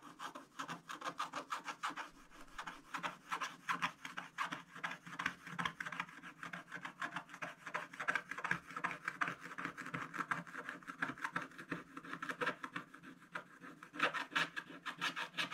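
A wooden stylus rubs back and forth over the lower dark area of a thin black-coated scratch-art paper page that is now largely scratched off. Quiet, dry scratching strokes repeat rapidly and unevenly, about three per second, with short raspy bursts centered in the midrange and a light bright edge. Each stroke dies away almost at once, leaving a steady papery rasp with almost no low end.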